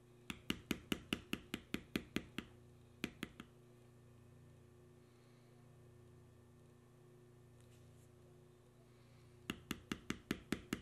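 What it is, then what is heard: Leather panel stamped with a steel beveler. Fingers hold a small steel beveler and tap it repeatedly into the carved knotwork lines of a solid tan veg-tan leather panel. The result is a run of about eleven sharp, dry clicks, then three more, a long quiet stretch with a steady low hum, and a final run of about seven clicks. Each tap is bright and dies almost instantly.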